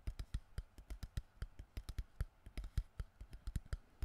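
An empty, crushed, hollow clear plastic water bottle is held in both hands close to the mic while fingertips tap rapidly on the plastic. About 24 quick, dull, low taps follow one another, each dying away almost at once, with faint crinkly clicks above them.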